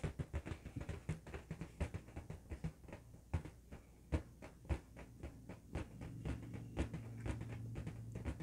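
An inflated, hollow blue LED-lit latex balloon, held in both hands, is tapped and scratched by fingertips and nails. The result is a rapid, uneven run of soft, muffled taps with a deep, drum-like thump, each dying away almost at once. Faint scratchy rustling runs between the taps.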